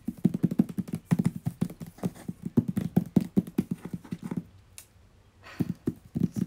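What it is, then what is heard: Hollow cardboard box. A medium-sized, hollow, white-grey printed cardboard box is held in one hand and tapped and knocked with fingertips and nails. The result is a rapid run of short, dry, hollow thuds with a low body. They pause for about a second and then resume.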